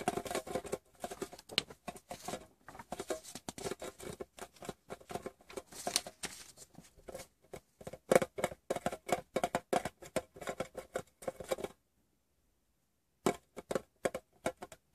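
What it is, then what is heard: Small metal tin tapped with fingernail. A fingertip and short painted nail tap the lid of a small, hollow, closed rectangular metal Wrigley's Doublemint chewing gum tin resting on fabric. Quick, light, dry taps with a slight hollow ring around 530 Hz come in dense irregular runs. They pause for about a second and a half before a few final taps.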